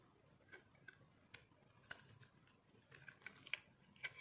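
A metal knife scrapes flakes off a small, solid, white, dry soap block held in one hand. About ten quiet, sharp, bright scraping ticks come at an irregular pace, each dry and quickly cut off with no ring, over a faint low hiss.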